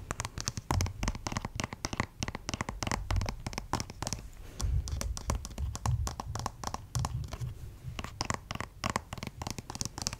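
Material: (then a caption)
Plastic. Fingernails scratch and tap on the head and arm of a white plastic acupuncture doll with printed lines, about 50 cm tall and likely hollow. Dense, rapid clicky taps and scratchy strokes over a low, hollow thump run continuously, each tap dying away almost at once.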